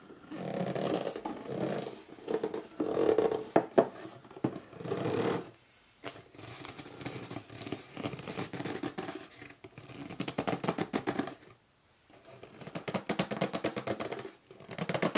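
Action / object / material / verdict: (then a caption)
scrape / cardboard box / cardboard / none. Fingertips and short nails scratch, rub and grip the top and sides of a hollow red cardboard box standing on end. Dry, papery scratching comes in bursts with brief squeaky tones near 670 Hz, separated by short quiet pauses. Most of the sound sits in the low-mid range with little deep bass or bright top.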